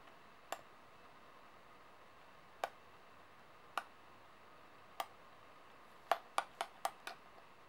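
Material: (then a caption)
Metal. Fingers and nails stack solid metal coins on a table and tap their edges, making nine short, bright metallic clicks with a faint ring around 690 Hz. The first four taps are spread out with long pauses, then five come in a quick run near the end, over a steady low hiss.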